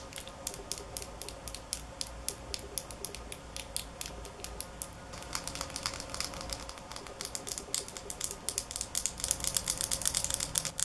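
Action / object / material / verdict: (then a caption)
tap / small glass bottle with plastic cap / glass / none. A small glass nail polish bottle with a black cap is held in the hands and tapped quickly with long nails, making a stream of sharp, bright clicks with almost no ring. The taps start lighter and more spaced, then become denser and louder over the second half of the clip.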